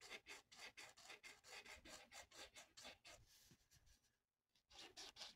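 A felt-tip marker colors a thin, flat paper coloring sheet on a table in short rubbing strokes. It makes a rapid, bright, scratchy rasp with little low end, turning to a longer smoother rub before a brief pause. Then the quick strokes resume.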